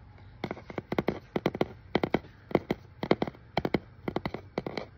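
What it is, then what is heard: Cardboard shipping box. Fingertips and nails tap, scratch and rub on the label and face of a hollow brown corrugated cardboard shipping box held in the hand. About two dozen quick, dry, muffled taps come in rapid clusters, each dying away almost instantly over a faint low hum.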